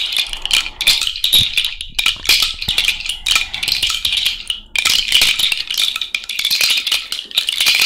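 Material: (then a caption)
Shell. A cowrie shell bracelet is shaken vigorously by hand, including overhead, producing a dense, continuous clattering rattle of shells knocking together. The sound is bright and crisp, with almost no low end and short, quickly decaying clicks that blur into steady bursts.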